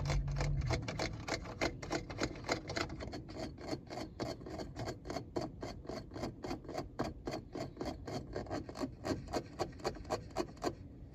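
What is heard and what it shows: Fingertips scratch and tap around the buttons and round tune knob of a hard plastic car radio front panel. Quick, fairly regular dry taps, about three to four per second, come over a steady scratchy rasp, and each tap dies away almost at once.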